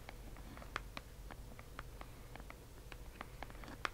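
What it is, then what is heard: Tapped cardboard box. Fingers or nails tap on a delivered cardboard subscription box, producing a steady series of short, dry, light ticks. The taps stop dead with no ring, over a faint low background hum.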